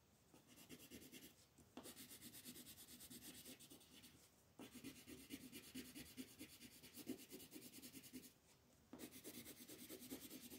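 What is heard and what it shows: A yellow wooden colored pencil is rubbed quickly back and forth across a flat white paper mandala coloring sheet held by fingertips. It makes a dense, bright, scratchy rasp with a soft mid-range body. The steady strokes are broken by brief quieter pauses near 1.7, 4.5 and 8.5–9 seconds.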